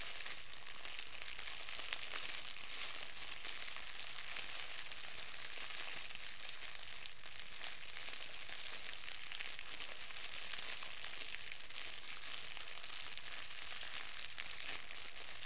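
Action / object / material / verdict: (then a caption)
scrape / clear plastic film / plastic film / none. A wad of clear plastic wrap, held in both hands, is crinkled and squeezed with the fingertips. It makes a steady, dense stream of bright crackling and crinkling that never pauses, at an even, quiet level throughout.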